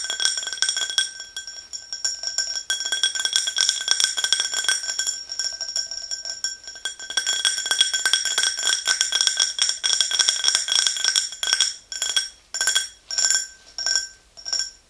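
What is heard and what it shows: Long acrylic nails tap rapidly on the sides of an empty, hollow, tall clear glass tumbler, making a dense stream of bright, high clinks with a steady ringing tone near 1.5 kHz and 3.3 kHz. Each tap dies away quickly. Near the end, the tapping breaks into a few short separate bursts.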